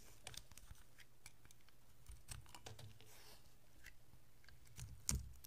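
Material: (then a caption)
Soap. A utility-knife blade scrapes thin slices off the surface of a solid red and white striped bar of soap. Quiet, crisp scraping ticks and brief bright crackles sit over a steady low hum. A louder, sharper scrape comes near the end.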